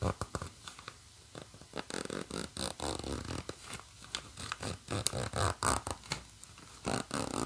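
Long nails scratch and tap along the black plastic coil zipper teeth of a green nylon bag and run the slider back and forth. The result is a quick, uneven series of short, dry scratchy bursts and brief zips, about four per second, with a bright, hissy top and a soft low thud in each stroke.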